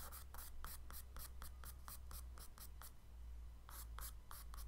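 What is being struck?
Kraft paper sketchbook page with charcoal stick.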